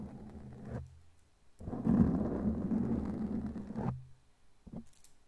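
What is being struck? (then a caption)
Foam microphone windscreen. Long glittery claw nails scratch a black foam windscreen on a microphone, producing a dull, muffled rumbling rustle concentrated in the low end. A short stretch of scratching gives way to a pause, then a louder, sustained scraping of about two seconds, followed by a couple of brief soft knocks near the end.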